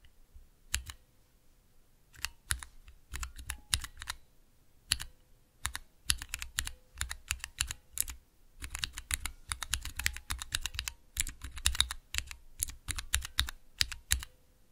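Fingertips press and tap the keys of a small 3x3 mechanical keyboard switch tester, with clear plastic keycaps on Cherry MX switches set in a clear plastic base and resting on dark velvet. Bursts of bright, sharp plastic clicks and clacks come in irregular clusters, each with a soft low thump and very little ring, separated by brief pauses.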